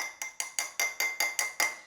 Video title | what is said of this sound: Love or Death? How Dating in Medellin Colombia Changed My Life...Forever | あのノイズこの金属片を叩いているのは私です